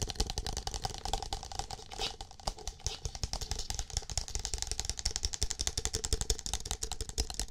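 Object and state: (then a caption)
Plastic cup. Fingertips rapidly tap and scratch a single empty, hollow green plastic cup with a shamrock print while it is held near and against the microphone. Dense, quick clicky taps with a bright top and a boomy low thump continue throughout, with a brief scratchy rustle around the two-second mark.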